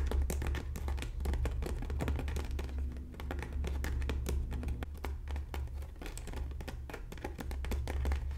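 Long natural nails scratch and tap across the strips of a hollow red braided straw bag panel. The result is a steady stream of quick, crinkly taps and scrapes over a low rumble, with no pauses.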